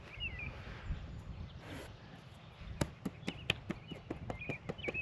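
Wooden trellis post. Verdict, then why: Hollow. A series of about ten sharp knocks on an old, rotten wooden vineyard trellis post gives short, hollow-sounding taps. The knocks come after a quiet stretch with birdsong in the background. The sound marks the post as hollow and rotted out.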